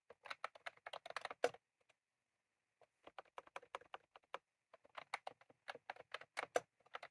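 Both hands type rapidly with their fingertips on a full-size, retro-style plastic mechanical keyboard with round cream plastic keycaps and a plastic case, resting on a desk. Quick, dry clacks come in two fast bursts separated by a pause of about a second. Each keystroke has a mid-pitched, crisp tap that stops almost at once with no ring.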